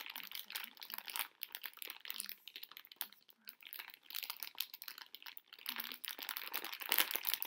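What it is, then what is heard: Plastic candy bag of conversation hearts. A medium pink printed plastic-film bag full of small hard sugar conversation-heart candies is held in both hands with long painted nails, squeezed and crinkled. Bright, dense crinkling comes in bursts, with faint rattling as the candies shift inside.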